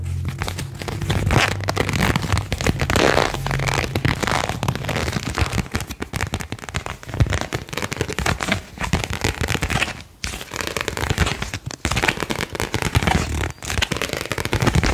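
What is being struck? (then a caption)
Thin printed paper card. A single thin printed paper card is bent and flexed with the fingertips, giving a continuous run of dense, crackling snaps over a low rumble. Sharp, brief clicks spread up into a bright crackle, with a few short pauses between bursts.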